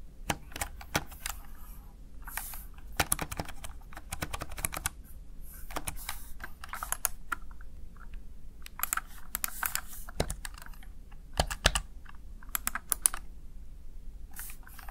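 Fingertips and long nails tap the keys of a small, hollow, backlit plastic Razer Tartarus Chroma gaming keypad in uneven typing bursts. Each press gives a short, dry, bright plastic click with almost no ring, and a soft low background hum sits underneath throughout.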